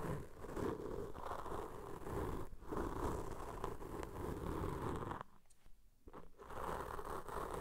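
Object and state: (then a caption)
Foam microphone windscreen rubbed. Cotton swab tips rub and scratch against black foam microphone windscreens, first using both hands and then a single swab on the left windscreen. The result is a dense, continuous crackling rustle with heavy low and mid body, a brief dip just before the midpoint, and a near-silent pause late in the clip before the scratching resumes.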